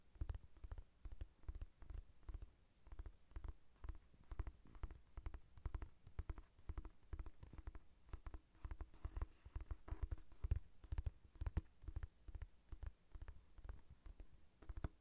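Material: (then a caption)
Paper. Long nails tap quickly on the glossy cover of a thick paperback novel, a solid block of paper held above the recorder. The result is a steady run of soft, dull, low thuds that die away instantly, with almost no bright edge.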